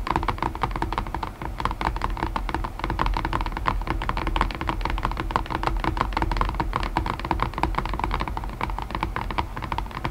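Long nails tap rapidly on the lid of a white cardboard box resting on the box, making a continuous stream of quick, dry clicks for about ten seconds. Each tap is short, with a hollow, low thud beneath the crisp click, and the pace and loudness stay fairly even throughout.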